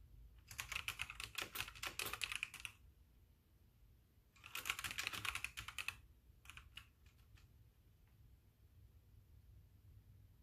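Both hands type with their fingertips on a full-size backlit mechanical keyboard with white plastic keycaps. Two bursts of rapid, bright, clacky keystrokes are followed by a few scattered single clicks. The typing is heard over a quiet low hum.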